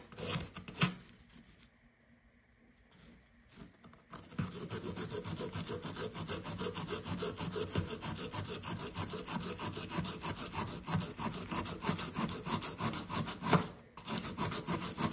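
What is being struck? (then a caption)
Plaster dig block. A fist-sized solid blue plaster dig block resting on kraft paper is scraped and rasped with a blue plastic digging tool, crumbling into powder. A few scattered scrapes give way to a brief near-silent pause, then a steady run of rapid, gritty rasping strokes with a dry, bright edge, broken only by a short gap near the end.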